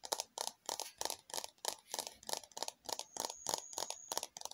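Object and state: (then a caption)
Plastic container tapped with fingernails. Long fingernails tap and scratch a small, hollow, red glossy plastic cup-shaped container with ridges, producing a quick, slightly uneven series of light, dry clicks. The clicks are bright and crisp with no low end and almost no ring, and a thin high tone briefly runs beneath them near the end.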